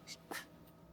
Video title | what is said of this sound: Does It Actually Get Crispy? Ninja Crispi Microwave Cooking Test! 🍗🍟 | Can you hear that? So you can hear the crunch.